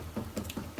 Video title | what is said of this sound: Ray Pattern Hammer Veneering | you're listening for hollow sounds a hollow sound would indicate that there is a bubble underneath there